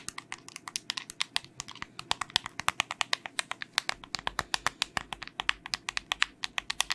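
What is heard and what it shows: Long nails tap rapidly on the buttons and hollow case of a small white plastic LED remote with coloured buttons, held in the hand. Dozens of quick, dry, bright clicks follow in an uneven stream, each dying away instantly with no ring. A faint low hum sits underneath in the second half.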